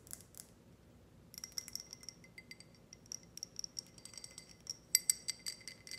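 Long red nails tap a tall, clear, empty ribbed glass tumbler with a grid pattern while it is held and tilted. About two dozen quick, bright, glassy clicks follow a short pause near the start, each with a faint high ring around 2 kHz and above that dies away almost at once. The taps come in irregular bursts at a quiet level, with the sharpest pair near the end.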